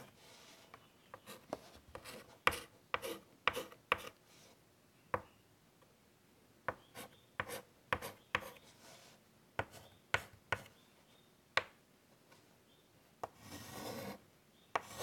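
White chalk draws small, detailed strokes and dots on a large wood-framed chalkboard, making quick, sharp ticks and short, bright scratches against a quiet background. Near the end, one longer, rougher scraping stroke stands out before a final few taps.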